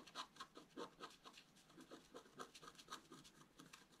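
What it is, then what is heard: Scratch art card being scratched. A wooden stylus scratches away the coating of a flat, black-coated scratch art paper card with a metallic layer beneath, lying on a table while the other hand holds the card. About fifteen quick, dry scraping strokes follow one another, each a short, bright rasp with a faint ringing tone. The sound is quiet and has almost no low end.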